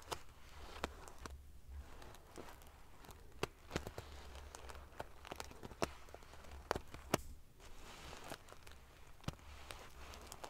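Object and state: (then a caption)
Metal-sequin fabric pillow. Fingers and long nails ruffle a large padded pillow covered in rows of silver metal sequin pieces. The result is a quiet, continuous crinkly rustle of the metal pieces shifting, broken by scattered sharp, bright clicks, over a faint steady low hum.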